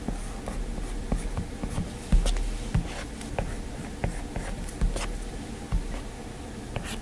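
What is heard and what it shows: A plastic stylus tip scratches long and short lines across the glass screen of an iPad, making soft, dry scraping strokes over a low, muffled rumble. About seven sharper taps and strokes stand out from the steady scratching, each fading almost at once.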